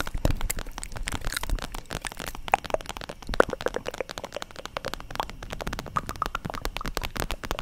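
An iridescent, flexible holographic vinyl makeup bag with a zip is held up and tapped and scratched with long acrylic nails. The result is a dense, continuous stream of quick crinkly clicks and scratchy rustles over a low rumble, with occasional short squeaky tones.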